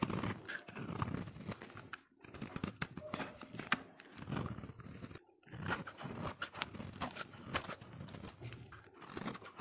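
A solid orange soap bar held in the hand is shaved with a utility knife blade into long curls. Dense, crunchy scraping strokes run almost continuously, with a bright hiss over a fuller low body, broken by brief pauses near 2 and 5 seconds.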